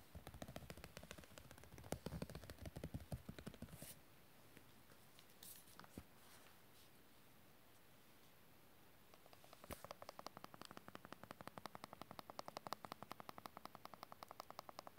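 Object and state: Glossy hardcover book.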